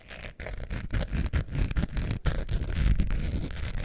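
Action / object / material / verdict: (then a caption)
scrape / faux leather wallet with metal zipper / faux leather / none. A long beige faux leather wallet with a metal zipper is held in the hands while a long nail scratches its surface near the zipper. The result is a continuous, textured scratching with a deep, low-heavy tone, broken by brief gaps between strokes.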